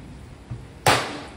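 The hard bottom of a fertilizer applicator is knocked to show that it is solid enough to tap. A single sharp, bright knock rings out with a low thud underneath and fades quickly, after a faint soft bump just before it.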